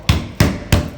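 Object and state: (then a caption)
Drummy (hollow) tiled wall. Ceramic bathroom wall tiles stuck to gyprock are knocked three times by hand, each knock giving a low, hollow, drummy thud with a short ring. The tiles sound drummy because the gyprock wall behind them is compromised, probably from water getting into the cracks, so they all need removing.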